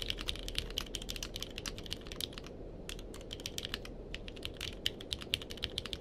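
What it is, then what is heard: Mechanical keyboard typing. Two-handed fingertip typing on a purple-cased mechanical keyboard with plastic keycaps produces a rapid, steady stream of short, bright clicks with a sharp tone around 3.1 kHz. Each click dies away almost instantly over a faint low background hum, and there is a brief lull near the middle.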